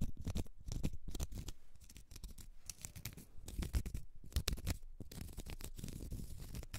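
Long red nails scratch the side and face of a small, solid, round cork stopper, making a dense run of dry, crackly scratches with a soft low rumble underneath. Quick bright strokes come in bursts with brief pauses between them, and each one stops almost at once.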